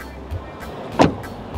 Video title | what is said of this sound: 【天價放送事故】日歐進口車對撞！上路第一天就撞了百萬名車Lexus RX200t｜車禍｜行車紀錄器｜保險理賠｜三寶｜計程車｜Skoda Fabia｜TOYOTA｜聰明的就懂 | There's also a solid sound of it closing.